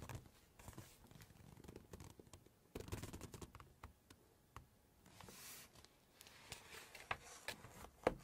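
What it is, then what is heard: Glossy paper pages. Long nails tap and scratch across a glossy full-page photo in a large hardcover Chinese cookbook, then lift the page. Quiet, dry scratching mixes with many sharp, short clicks, and a soft, bright papery swish rises midway as the page lifts. More taps follow, ending with one louder click.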